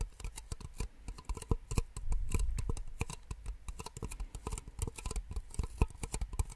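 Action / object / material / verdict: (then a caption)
tap / small plastic drinking cups / plastic / none. Two identical small empty white plastic drinking cups, held upside down in both hands, are rapidly tapped with long nails. The result is a quick, uneven patter of dry, short clicks with a low thump under each tap. Around the two-second mark, a denser stretch of sustained rustling tapping briefly fills in.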